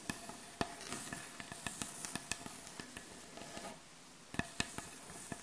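Long acrylic nails scratch across a solid, light wooden butcher block board, producing a steady dry, bright scratching hiss. Thirteen sharp, short taps cut through it with no ring, and there is a brief quieter pause near the four-second mark before the scratching and tapping resume.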